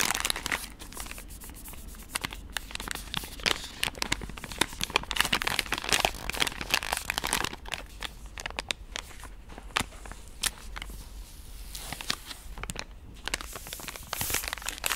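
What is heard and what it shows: A pink soft plastic wet-wipe pouch is handled, squeezed and scratched with long nails, giving a steady stream of bright crinkling and crackling with many sharp, quick clicks and scrapes. The sound stays dense and high throughout, with brief louder bursts where the plastic is gripped harder.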